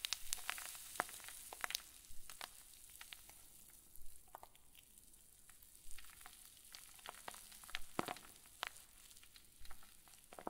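A clear zip plastic bag full of white fluffy stuffing is squeezed with both thumbs, giving soft, irregular crinkles and sharp crackling snaps over a faint hiss. The clicks are bright and short, scattered unevenly across the clip.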